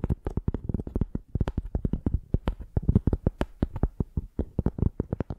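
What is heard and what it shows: Long painted nails scratch and tap the ridged tan surface of a flat, rectangular piece of tree bark held in both hands. About thirty-four short, dry clicks and scrapes come in a quick, uneven run, each ending instantly with no ring. The sound is mostly low, with sharp attacks.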